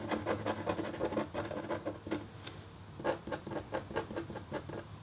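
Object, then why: Black-coated copper foil scratch art sheet scratched with a metal stylus. A red-handled, metal-tipped stylus makes rapid, short scratches across a flat, black-coated copper foil scratch art sheet. The result is a quiet run of dry, rasping strokes centered in the midrange, each fading almost at once. A brief lull near the middle holds one small, bright tick before the scratching picks up again.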